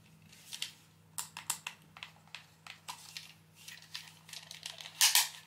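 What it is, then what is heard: Plastic game controller, handled. A pink PS3 DualShock controller of hollow, hard plastic, handheld-sized and held in both hands, as fingertips press and click its buttons and tap the shell. A series of short, bright plastic clicks and taps follows over a faint low hum, ending with a louder clatter as the controller is set down on the desk.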